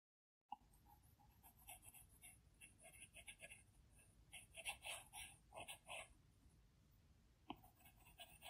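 A plastic Apple Pencil tip taps and strokes across the large, flat glass screen of an iPad Pro while painting. Quiet, bright scratchy swipes and light ticks come in short, uneven bursts, growing a little louder in the middle, with one sharp tap near the end. The tip sounds crisp and dry against the glass, with almost no ring.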